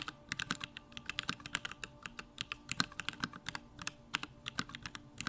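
Fingertips type fast on a backlit compact Bakeneko65 mechanical keyboard with Durock lavender switches and plastic keycaps, producing about 34 short, bright clacks in an uneven rapid stream. Each keystroke is crisp and dies away almost instantly with little low end, over a faint steady hum in the background.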